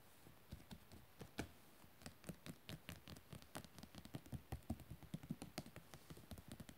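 Fingertips and nails of one hand tap and scratch rapidly across a glossy printed photo page of coated paper in a book lying open. The result is a quiet, quick run of dry, dull taps weighted low, with brief bright clicks and faint scratching, each dying away almost at once.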